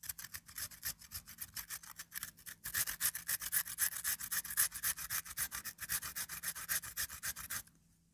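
A peeled, solid raw potato is scraped by hand across the metal grating surface of a small pink-framed metal grater held close, as shreds build up. About 55 quick, steady strokes come nearly four per second, each a bright, dry rasp. The strokes grow louder midway, then stop abruptly near the end, leaving near silence.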